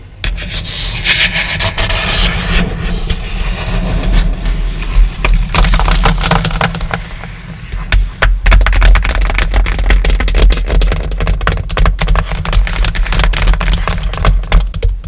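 Long dark acrylic nails scratch and tap the aluminum palm rest and glass trackpad beside the backlit keyboard of an open, roughly 15-inch MacBook-style laptop. Rapid, irregular bright clicks and scratchy rubbing run continuously over a steady low hum, easing briefly near the middle before picking up again. The audio is edited with an added echo effect that makes each tap ring slightly.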